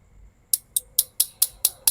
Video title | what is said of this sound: บีบีกันมือ2 Tokyo Marui P226 Sentinel Nine(ปิดการขาย) | นี่ก็คือท่ออลูมิเนียมนะครับไม่ใช่ท่อพลาสติก